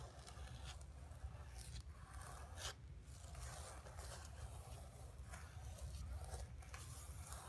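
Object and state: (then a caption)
Painted canvas panel. Long nails scratch and tap across the surface of a flat painted canvas board resting on carpet. Dry, rasping scrape strokes come in bright bursts over a steady low rumble, with brief taps mixed in at a quiet level.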